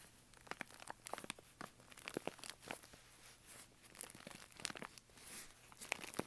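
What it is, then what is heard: Kraft paper bag scratched. Fingertips and nails scratch and rub the crinkly wall of a tall brown kraft paper bag, a washable-paper style with a rolled top, standing hollow and upright on carpet. Quick, dry crinkling and rasping strokes come in short, irregular bursts, bright and papery with little low end, at a fairly quiet level.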